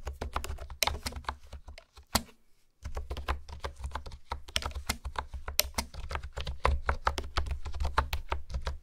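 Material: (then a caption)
Plastic. Fingertips type and tap on a pink plastic honeycomb keyboard with hexagonal keys, producing a steady run of short, crisp clicks with bright tops. There is a brief pause a little over two seconds in, and a low rumble underlies the typing throughout.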